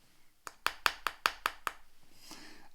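A porcelain dish is tapped against teeth at a suspected restored area that feels sticky and tacky like nail varnish. Seven quick taps are heard, giving a slight dull thud instead of a sharp tap. This indicates professional restoration.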